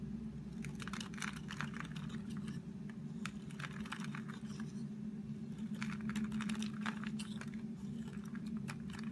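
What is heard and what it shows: A solid rectangular multicolored DURU rainbow soap bar, held in the hand, is scraped and shaved with a metal utility blade so that soap flakes fall off. Quick, dry crackling scrapes come in bursts over a steady low hum throughout.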